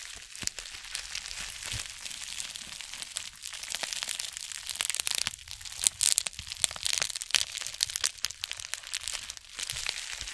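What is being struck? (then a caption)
Plastic bubble-lined mailer envelope. A white plastic bubble-lined mailer envelope is held upright in both hands while long nails and fingertips scratch and squeeze its surface. Dense, bright crinkling and crackling scratches run throughout, with sharper crunchy bursts in the middle and almost no low end.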